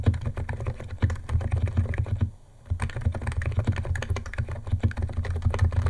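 Fingertips of both hands type fast on a white compact 68-key Niz ATOM 68 keyboard with electro-capacitive switches, white plastic keycaps and a plastic case, resting on a wooden desk. A dense stream of deep, muffled clacks and thocks runs throughout, broken by a brief pause near the middle.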